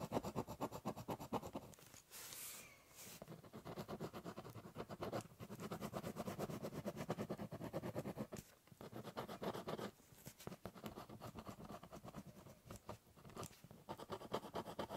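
The tip of a silver-and-purple ballpoint pen, held in the fingers, scratches across a large, flat, brown, hollow corrugated cardboard box lying on a table in writing and scribbling strokes. Rapid, dry, raspy scratches run in uneven bursts with a few brief pauses, and the hollow cardboard gives them a soft, low-mid body.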